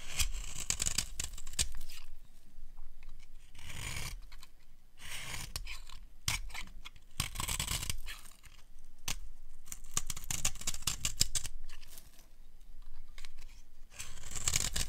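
A small metal blade scrapes and carves thin flakes off the edge of a solid, hand-sized rectangular bar of dry yellow soap held in one hand. Dry, crisp rasping and crunching strokes come in uneven bursts with bright hiss and a low rumble beneath, separated by short quiet pauses.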